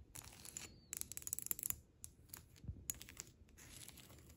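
Long red acrylic nails tap and scratch a solid sheet of flat beige hexagonal ceramic tiles wrapped in clear cling film. The result is quick, bright, crinkly clicks and scratchy rasps that come in rapid bursts, with short pauses between them.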